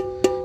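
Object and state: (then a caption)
Empty engine oil pan. A single knock on the metal engine oil pan of a Mitsubishi Xpander after the old oil has been drained gives a clear, ringing metallic tone around 380 Hz that fades within a fraction of a second. The bright, resonant ring indicates the oil pan is empty because all the oil is gone.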